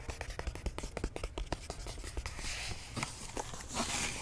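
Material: Cardboard.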